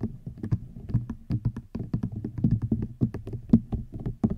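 Fingers tap quickly and irregularly on a rattan item. Each tap is short and dull, with a hollow low body and almost no ring. The taps run together in a soft, steady patter.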